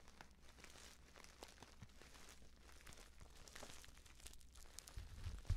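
Fingertips with painted nails squeeze and tap the surface of a filled, orange-printed stand-up paper tea pouch. Quiet, irregular paper crinkles and soft tapping rustles sit over a low, dull undertone. The sound grows slightly louder toward the end with a sharper final crunch.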